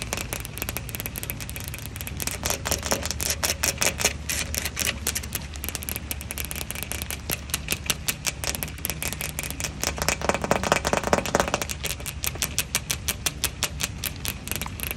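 Long acrylic fingernail tips tap rapidly across a wet patio table's large, flat pane of leaf-patterned textured glass. Dense, irregular streams of short, bright clicks ring out barely at all, over a steady hiss that may be outdoor rain.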